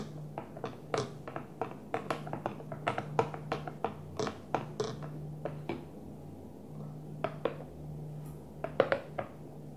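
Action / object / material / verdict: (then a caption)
tap / plastic food container / plastic / none. Gentle tapping on a Tupperware plastic food container: a steady run of short, dry taps with quick decay and a bright edge. The taps come in irregular clusters over a low, constant hum.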